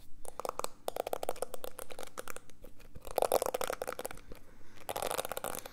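Fingertips and nails scratch and rub across the dense plastic bristles of a small, solid, handheld black plastic detangling hairbrush held close to the mic. The result is a quick stream of dry, crackling clicks and scratchy rasps, with louder, denser bursts around the middle and near the end. The clicks are short and dry, with no ringing afterward.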